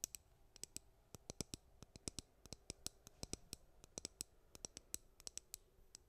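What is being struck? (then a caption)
Plastic hairbrush. Long nails scratch and pluck the bristles of a white plastic hairbrush and tap its back, making about 35 quick, dry, bright clicks and ticks. Each sharp, high snap dies away almost instantly over a faint, low scratchy hiss.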